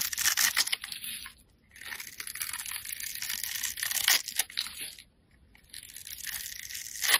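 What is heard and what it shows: A metal utility blade scrapes curls and shavings off a handheld, solid, bright green translucent bar of soap. The scraping is crisp, dry and bright, in three stretches of rasping strokes separated by two short pauses.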